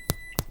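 Two hollow taps on a loaf of pan de muerto after about 25 minutes in the oven, each a short, low thud centered near 140 Hz that dies away almost instantly. The hollow sound shows the golden-brown sweet bread is baked through.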